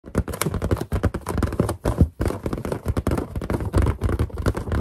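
Long green-and-black painted nails and finger pads tap fast on the surface of a large, inflated white latex balloon with a boar-mask character drawn on it. The hollow, air-filled balloon answers with a dense stream of dull, low, thumping taps. Each tap dies away almost instantly.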